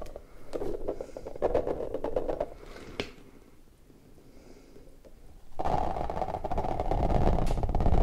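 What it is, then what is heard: Rubber puffer ball. An orange rubber puffer ball is alternately squished and squeezed into a bulging bubble while fingers rub the rubber, producing close, low rubbery squelches and creaks. The sounds fade to a soft lull midway, then return as a louder, dense stretch of continuous rubbing and squeaking.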